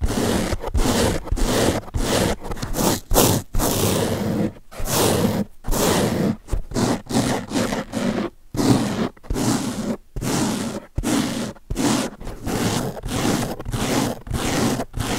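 Fingertips scratch the top surface of a large blue open-cell foam car sponge held in one hand. The result is a run of short, raspy, broadband scratching bursts separated by brief silences, with a low rumbling body and a bright, airy hiss on top.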